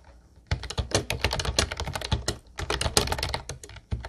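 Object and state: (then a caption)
Plastic round-key keyboard being typed on. Fingertips of both hands tap quickly across the round white keycaps of a light blue plastic retro Ubotie keyboard. After half a second of quiet, a dense run of sharp, bright plastic clicks with a low thocky base comes in. It breaks off in brief pauses near the middle and near the end before resuming.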